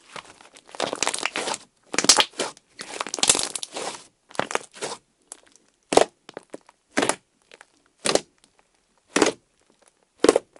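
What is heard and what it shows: Fingertips press and poke a pale orange, icy-textured slime on a table, leaving dents in it. Dense bursts of bright crackling and crunching fill the first four seconds, then separate, sharp crackly pokes follow about once a second, each with no ring after it.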